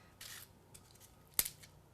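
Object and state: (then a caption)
Crispy baked kale chips. Baked kale chips, after about 20 minutes at 300 degrees, are handled and crinkled on the tray. A soft, bright rustle leads into a sharp, crisp crackle. The crackle shows the chips have turned fully crispy.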